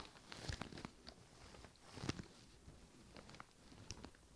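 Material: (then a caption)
Leather. Fingertips and nails scratch and tap both side panels of an upright, hollow white leather handbag with brown trim. Quiet, dry scratching runs throughout, broken by crisp taps that carry a soft low thud and a bright click. Each tap dies away almost instantly.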